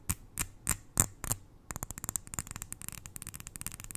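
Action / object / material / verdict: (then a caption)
tap / glass jar filled with granules / glass / none. Long nails tap on the glass sides of a small glass jar full of white granules, held close to the ear. Five slower, separated taps with bright clicks and a low thud come first, then a quick, uneven run of lighter taps that stop dead with no ring.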